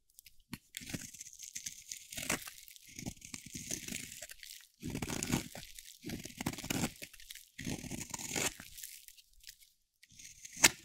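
A metal utility blade carves slices off a solid, pale yellow-white bar of dry soap held in the hand. Bright, crunchy scraping strokes come in bursts separated by short pauses, ending with a sharp snap.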